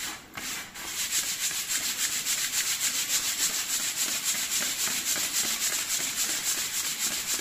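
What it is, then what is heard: Leather vest being scratched. Fingertips and nails scratch and rub the chest panels on both sides of the zipper of a worn dark leather vest made of thin, soft leather. A steady, bright, hissy scratching repeats in quick, fairly regular strokes throughout, after a brief quieter moment at the start.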